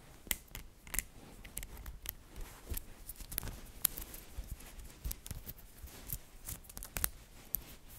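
Fingertips with long dark nails pull single balls off a coiled bracelet of small, solid, green-coated magnetic metal balls and click them back on. Sharp, bright clicks snap out at irregular intervals and stop almost instantly, over a quiet, low scratchy rustle of handling.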